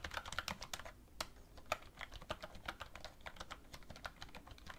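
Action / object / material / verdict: tap / plastic computer keyboard / plastic / none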